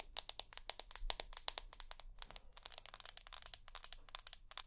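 Long nails tap and drag across the white glass back of an iPhone with an aluminium frame. The result is a quick, quiet run of sharp, bright clicks with almost no ring, mixed with soft scraping between the taps.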